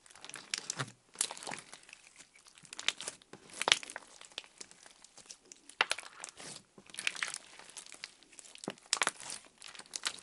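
A fist-sized blob of clear orange slime on a white table is pressed, poked and squished flat by fingertips. It gives a continuous run of bright, wet crinkling and crackling pops, with brief louder squishes rising out of quieter stretches and almost no low end.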